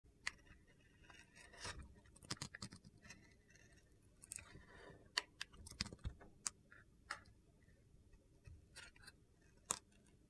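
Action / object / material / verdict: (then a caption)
scrape / bar of soap cut with a metal blade / soap / none. A solid rectangular bar of opaque red-yellow soap, held in the hand, is shaved and sliced with a metal utility knife blade. The result is quiet, irregular, crisp scraping with about fifteen sharp, bright clicks of the blade biting into the soap, separated by softer gritty shaving sounds.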